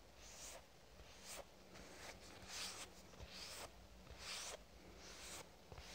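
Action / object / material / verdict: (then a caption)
scrape / soft plastic squeeze tube / plastic / none. A lavender soft plastic squeeze tube is scratched and tapped with a fingernail. Soft, bright, hissy scratching strokes come in uneven bursts, mixed with light taps against a quiet background hum.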